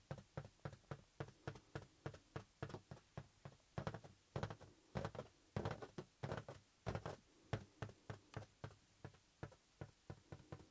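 Fingertips and nails tap a green, hollow, inflated latex balloon held in one palm. An uneven run of quick, soft, muffled taps sounds out, each a short low thump with a little bright click on top that dies away almost at once.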